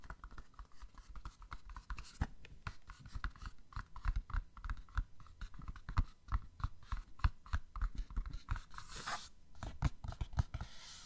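Long fingernails quickly scratch and tap a small printed cardboard OPI Mariah nail polish set box with a plastic window. The result is a steady run of rapid, dry clicks and scratchy strokes with dull, low thumps, each hit stopping short with no ring.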